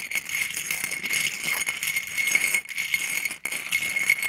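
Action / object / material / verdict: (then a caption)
tap / small scallop shells on a ceramic plate / shell / none. About a dozen small, thin, hollow calcium scallop shells on a white ceramic plate are stirred and tapped with a wooden stick, so they clatter together. The result is a dense, bright, continuous rattling with a steady ringing tone near 2.2 kHz, almost no low end, and brief pauses around 2.6 and 3.4 seconds.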